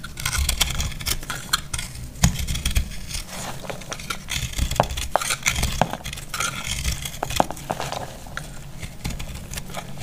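A dry, solid green-yellow heart-shaped soap, already partly cut, is held in the hand and sliced and scraped with a metal utility knife blade. Short, sharp, crunchy cracks and bright scratchy scraping repeat over a low rumble as dry, crumbly flakes break off.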